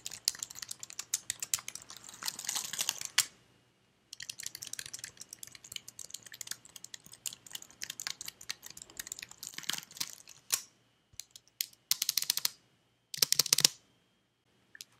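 Fingertips with red nails type on a white slim plastic computer keyboard held close up. Many quick, light, bright clicks come in dense bursts with short silent gaps between them. Each click stops almost instantly.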